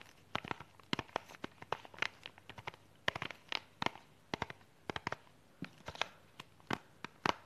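A small, flat, clear plastic box holding false eyelashes, sealed in a crinkly cellophane sleeve, is held in both hands and tapped and scratched with long pink nails. Quiet, sharp, bright clicks and crisp crinkles come in a rapid, irregular series, each dying away almost at once, with little low end.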